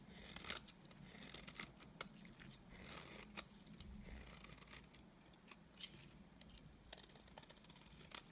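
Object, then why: Cream bar soap scraped with a knife blade. A utility knife blade scrapes curls off the face of a solid, dry, cream-colored rectangular bar of soap. The quiet, bright, crisp scraping rasps on and off, punctuated by short sharp ticks and clicks, over a faint low hum.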